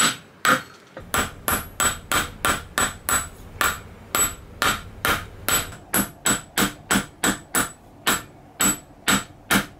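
A small solid silver bar held in pliers on a steel anvil is struck repeatedly with a steel hammer. Each blow gives a sharp, bright metallic knock, and the anvil rings briefly with it. There are 24 blows at a quick, uneven pace.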